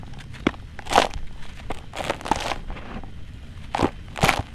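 Bare fingertips and hands dig, rub and scratch through loose, dry, gritty red-brown soil with small pebbles filling a blue plastic tub. Short bursts of dry, crunchy scraping and bright, gritty rustling come in uneven clusters over a low, quiet background.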